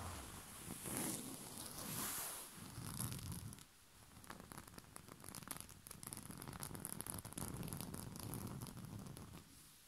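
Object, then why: Bunched cotton bed sheet. A bunched white rose-print cotton bed sheet is scratched quickly with the short fingernails of both hands. The result is a dense, fast, irregular scratching and rustling, full in the low end with a bright hiss on top. It swells in soft waves, dips briefly near the four-second mark, then carries on steadily before fading slightly at the end.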